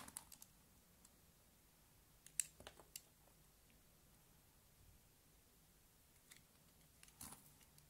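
A small utility knife shaves curled strips off a solid, palm-sized pink bar of soap held in one hand, with the shavings piling up on a wooden table. Quiet, crisp, bright scraping clicks come in short separate bursts over a faint hiss, with the loudest cuts clustered near the middle and end.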